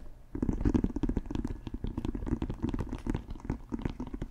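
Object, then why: Pebbled leather American football. Fingertips scratch and tap the textured surface of a brown pebbled leather or composite American football, hollow and inflated, held close to the mic. After a brief quiet start comes a steady run of soft, low, hollow thumps mixed with dry scratchy rustling, each tap dying away almost at once.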